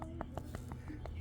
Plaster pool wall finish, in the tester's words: versus an area that's not Hollow